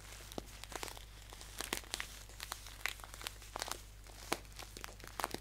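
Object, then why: Paper tea pouch. Fingertips crinkle and tap a green paper tea pouch standing upright. Quick, dry, bright crackles and light taps come in scattered bursts over a faint steady low hum, each one dying away almost instantly.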